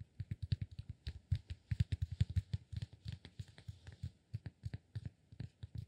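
A solid cork block is held upright between both hands while fingertips tap rapidly on its sides. About thirty-three quick, soft, dull thuds follow one another in an uneven patter, each low and muffled with almost no ring, and only a faint bright click on top.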